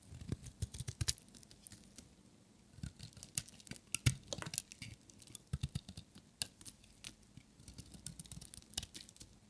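A metal utility knife blade cuts a solid, dry, green and white striped bar of soap thinner and shaves it. Dozens of short, crisp scraping and crackling strokes come in quick clusters, each with a dull low thump and a bright edge. There is a brief quieter pause near the two-second mark.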